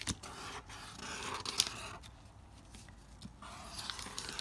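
A pink felt-tip marker draws continuous strokes across a sheet of wrinkled, thin, lined notebook paper lying on a marble-pattern board, while the fingertips of the other hand hold the sheet in place. Quiet, bright scratchy rasps come and go as the tip drags over the creased paper, with a few sharp crinkly ticks standing out.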